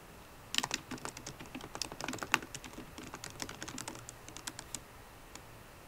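A MacBook Pro keyboard with plastic keycaps in an aluminum body is typed on with long nails and fingertips. It produces a quiet, irregular run of short, bright clicking taps that stop instantly with no ring, some sharper and louder than others.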